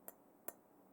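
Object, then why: Metal cup. Fingernails tap a metal cup twice, giving two short, sharp metallic ticks with a bright, high ring that dies away almost at once.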